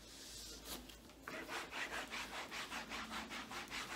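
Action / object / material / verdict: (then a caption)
scrape / rubber treadmill belt wiped with a cloth / rubber / none. A gloved hand rubs and wipes a blue microfiber cloth back and forth across a black rubber treadmill belt bearing a red Sunny logo. After a softer, hissy first second, a steady run of quiet, bright swishing strokes follows at a brisk, somewhat uneven rhythm.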